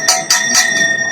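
An ordinary iron sword blade is struck several times at a sword exhibition to show what plain iron sounds like, as a reference against replica swords. Each strike gives a bright metallic clang with a steady tone near 740 Hz, a strong overtone near 2 kHz and high shimmer. The ring dies quickly, the sound of ordinary iron.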